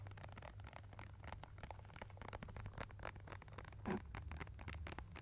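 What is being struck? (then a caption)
Plastic squeeze tube of paint. A small, hollow, partly filled blue and white plastic squeeze tube of studio acrylic paint is held in both hands above a foam-covered microphone and tapped and squeezed with long nails and fingertips. Quiet, rapid clicks and crinkly scratches patter over a steady low hum, with a louder, fuller squeeze near the four-second mark.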